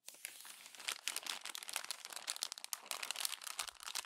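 Glossy paper magazine pages are crumpled by hand and smoothed with the palm and long nails. A dense, continuous run of bright, crisp crinkles and crackles follows, with sharp rustling spikes and almost no low end.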